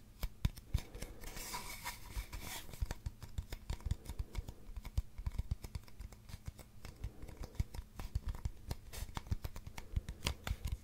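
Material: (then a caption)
Cardboard. A long, hollow brown cardboard tube is held upright and scratched and tapped with fingernails. Quick, dry taps and clicks come in a steady irregular stream over a deep, hollow low resonance, with a brighter scratching burst early on.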